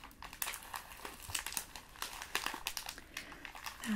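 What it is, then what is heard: Plastic candy wrapper. Fingertips and long nails crinkle and rub the plastic wrapper of a small blue candy held over a table. The result is a quick series of crisp, bright crackles and rustles, mostly high-pitched and with little low end.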